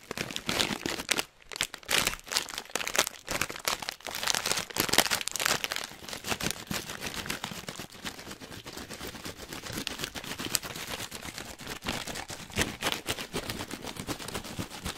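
A hand-sized Hot Nuts plastic foil snack bag, full of nuts, is pinched, crinkled and shaken with the fingers. Dense, bright crinkling and crackling comes in quick bursts, louder over the first six seconds, then settles into a steadier, softer rustle.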